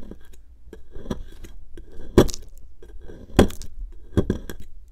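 A metal pick tool, held in a hand with long nails, scratches and scrapes a solid pink plaster excavation block that sits out of its tray on a dark mat. Short, dry, gritty scrapes and clicks come at an uneven pace, with a few louder sharp scratches standing out. Each sound stops at once with no ring.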